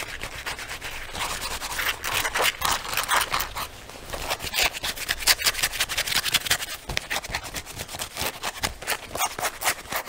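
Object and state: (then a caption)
Leather jacket being scratched. Fingertips and nails scratch the lapels and rub the sleeve of a black leather jacket being worn. The result is a steady stream of dry, bright scratching and rubbing strokes with little low end, in quick irregular bursts that blur together rather than falling into distinct hits.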